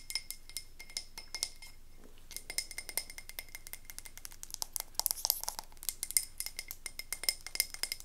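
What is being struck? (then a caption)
Frosted glass candle jar with wax. Long nails rapidly tap and scratch the glass and label of a wax-filled frosted glass candle jar, ombre from white to navy, as it is held and turned. The result is a fast run of bright, high-pitched glassy clicks and clinks with very short ring and soft scraping between them. There is a brief lull around two seconds, and the taps grow denser and louder toward the end.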